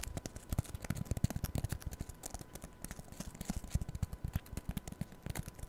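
Long nails scratch the green abrasive scrub side of a rectangular foam kitchen sponge held in front of the mic. The result is a rapid, uneven series of short, dry, low-weighted scratches and ticks with no ring, plus faint high crackle and a thin steady tone underneath.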